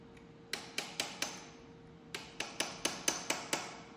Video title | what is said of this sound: Tractor Parts ARE HERE!! Transmission back together!! #uncut | Hear that change in sound? That's solid. That snapped right in.